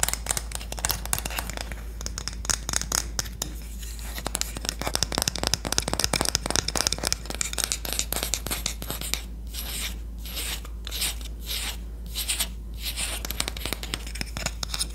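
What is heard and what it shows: A solid red-lacquered Korean wooden spoon is tapped and scratched with long nails. Dense, rapid clicks and dry scratching rasps run throughout, with brighter bursts of scratching in the latter half. A steady low hum sits underneath.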